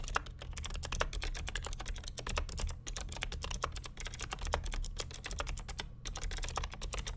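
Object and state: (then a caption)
Plastic clicky mechanical keyboard. Fingertips of both hands type continuously on the plastic keycaps of a vintage beige NMB RT8255C W+ mechanical keyboard with Hi-Tek "Space Invader" clicky switches and a hollow plastic case. A rapid, steady stream of sharp, bright clicks rides over a low, hollow thudding, with each keystroke dying away almost instantly.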